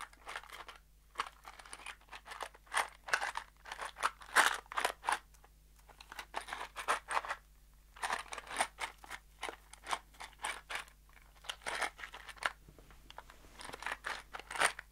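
A small kraft cardboard box holding screws is shaken and then brought close to the microphone. Bursts of dense, bright rattling and crunchy clicks come in groups separated by short pauses. A faint steady low hum sits underneath throughout.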